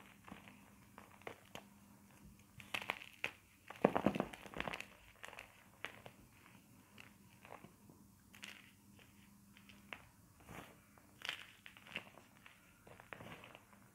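Fingertips squeeze, crumble and rub pieces of white sport gym chalk (magnesium carbonate), a solid, soft, chalky mineral crushed into a powder pile on a dark surface beside an intact chalk block. Soft, dry crunches and crackles repeat quietly throughout, with a denser, louder burst of crumbling near the four-second mark. Each crackle dies away almost instantly, leaving a gritty, crumbly texture.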